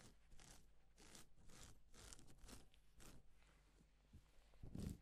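Blue-gloved hands rub and brush a flat sheet of reversible plastic sequin fabric with palms and fingertips. Repeated soft, scratchy swishes sweep across the sequins in bright, rustling strokes over a steady low hum, and a fuller brush near the end is the loudest.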